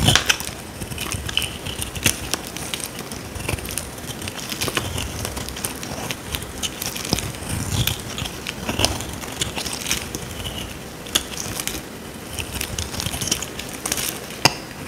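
A solid, dry, oval white soap bar held in the hand is scraped with a small metal blade, shaving it into dry curls. The scraping makes a steady, bright, crackly rasp with sharp little snaps throughout, and each sound stops almost instantly with no ring.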